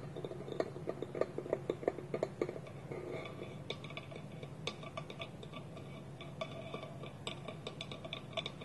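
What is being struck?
Small wooden bowl with lid.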